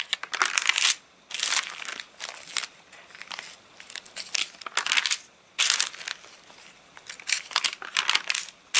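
Hands rub the open spread of a rain-dried paper catalogue with stiff, wavy pages and crumple the page edges between the fingers. Bright, dry crinkling and crackling comes in irregular bursts separated by brief near-silent pauses, with almost no low end.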